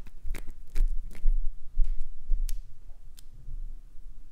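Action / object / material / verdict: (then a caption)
scrape / glycerin soap bar / glycerin soap / none. Long pointed acrylic nails repeatedly scratch and scrape flakes off a solid green glycerin soap bar held in the hand. Short, dry scratches and bright crackly clicks come in an uneven rhythm over a low, soft rumble.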